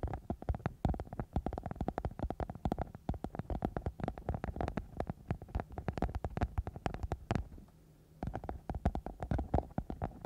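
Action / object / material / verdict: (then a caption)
scrape / glitter foam sheet over a microphone / foam / none. A sparkly silver glitter foam sheet, a thin flexible sheet wrapped over a microphone and a hollow shape, is scratched and rubbed with long manicured nails of both hands. The sound is a dense run of quick, dull, low-heavy scratches and taps with a booming, hollow thump. It pauses briefly near the eighth second, then resumes.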